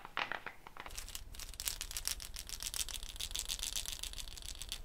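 A hollow dried gourd shaker with a net of wooden beads is held by the neck above the head and shaken. A few sharp bead taps are followed by a dense, continuous run of bright, crisp rattling clicks over a low rumble.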